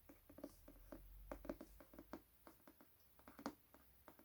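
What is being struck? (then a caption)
Hardcover book, paper-covered board cover. An illustrated Hunger Games hardcover book with its dust jacket removed is tapped repeatedly on its bare paper-covered board cover. The result is a quiet, uneven pattering of short, dull, mid-pitched knocks that die away almost instantly.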